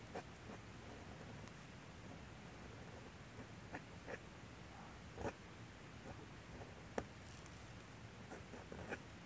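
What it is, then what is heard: Paper sheet scratched by a dip pen. A steel G-pen nib on a holder scratches across a thin paper manga manuscript sheet resting on a light box while inking line art. Short, dry scratching strokes sound out irregularly over a quiet, low background hum, with faint bright edges on the sharper strokes.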